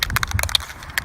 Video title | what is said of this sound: Restauration voiture éclectique Jeep pour enfant | once you hear the ball rattling shake it for about two more minutes